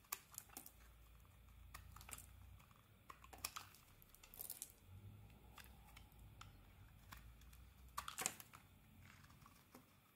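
A metal blade carves and scrapes flakes off a solid red and cream bar of soap held in the hand. Quiet, dry, crisp scrapes and sharp ticking cuts come in irregular bursts, bright and crackly with very short decay. A faint low rumble sits underneath.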